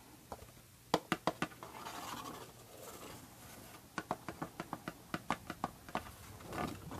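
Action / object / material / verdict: tap / paperboard perfume box / cardboard / none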